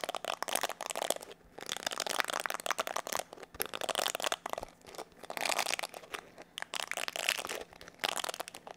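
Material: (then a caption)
Plastic. A palm-sized black plastic paddle hair brush with a hollow oval body is held in both hands while fingertips and nails rub and scratch its bristle side and back. Dense, crackly scratching and crinkling fills the clip in bright bursts, separated by brief quiet gaps, with no low-end weight.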